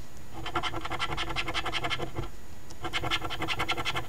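A coin pinched between the fingers scratches the latex coating off a flat cardstock $5 Ontario OLG Very Merry Multiplier instant lottery ticket (#2465). Two bursts of quick, rasping back-and-forth strokes, with a brief pause between them, have a bright, gritty texture over a low rumble.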